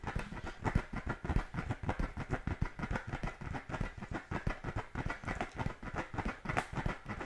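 An inflated brown pebbled composite-leather football is held in both hands and scratched with fingertips and nails. It produces a steady, somewhat uneven run of quick, soft scratching strokes with a dull, hollow low-end thump under each one, for about seven seconds.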